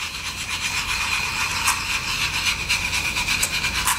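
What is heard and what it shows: Long acrylic nails scratch and rub across the glitter-coated face of a solid, roughly plate-sized round wood log slice with a bark rim. The result is a continuous bright, raspy scraping with rapid strokes and a few sharper scratches standing out. There is almost no low end.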